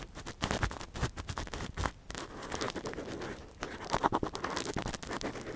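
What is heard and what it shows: A long, thin metal earpick held in latex-gloved fingers gently scratches inside the hollow canal of a silicone ear model. It makes quiet, close, dense scratching and crackling with rapid tiny clicks and rustles. There are brief pauses near two seconds and again before a slightly louder burst of scraping.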